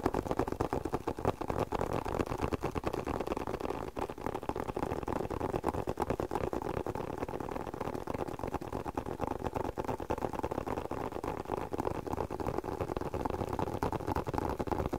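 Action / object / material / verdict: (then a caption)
tap / leather spectacle case / leather / none. Fingertips tap rapidly and unevenly on a closed, hollow, hand-sized black leather spectacle case. The taps are soft, muffled thuds with a warm midrange body and almost no brightness, each dying away almost instantly. They keep up a steady, dense patter for the whole clip.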